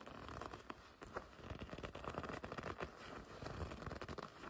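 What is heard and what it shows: Long red nails scratch and pinch the front of a black and red leather racing jacket. The result is a dense run of soft, low-level scratches, creaks and crinkly rubbing bursts with a muffled, low-weighted tone.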